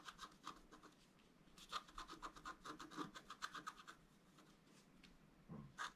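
A wooden stylus scratches lines into a flat black-coated scratch art paper board. Short, dry scraping strokes come in quick bursts with a tonal squeak near 1.2 kHz and bright hiss above it. A quieter pause falls in the middle, then a few final strokes.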